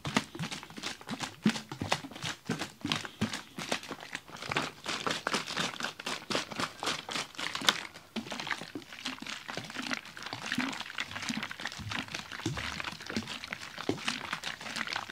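A large clear plastic water bottle with a red cap, holding icy, partly frozen water, is held in the hand, tilted and shaken. This produces a dense, steady stream of bright, crackling rattles and crinkles as the ice and water knock around inside. The sound lasts about 15 seconds with little low end.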